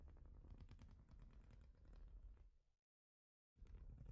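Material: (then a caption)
Plastic. Long nails tap quickly and unevenly across a large, flat plastic Lego-style studded baseplate, making a soft, dense patter of dull, low clicks. The tapping fades out and stops for a brief silence, then starts again.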